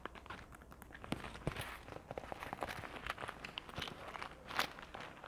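A closed, palm-sized printed faux leather wallet holding contents is tapped and scratched across its surface with long nails. The result is a quiet, steady run of crisp taps mixed with dry, scratchy rustling, with a few sharper clicks standing out.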